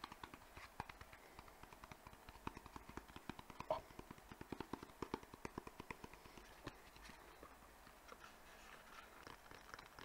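Fingertips and nails tap quickly on a small, hollow white rectangular cardboard box that is held up and turned. The result is a fast, steady stream of light, dry taps with a hollow midrange knock and almost no ring. The playing is quiet overall, with a few slightly louder hits.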